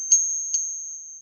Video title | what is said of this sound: Monday Night Metals | copper whines like a mosquito